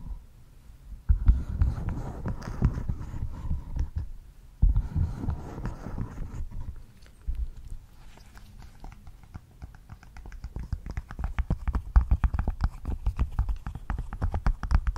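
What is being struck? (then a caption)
Silicone pop-it fidget board. A large rainbow silicone pop-it board is held close to the mic while fingertips press and pop its hollow silicone bubbles. Rapid, clicky yet muffled, bass-heavy pops come in dense bursts, ease off in the middle, then pick up again into a fast run toward the end.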